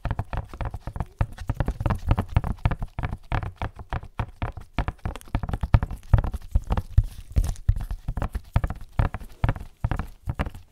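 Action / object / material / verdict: tap / printed cardboard box / cardboard / none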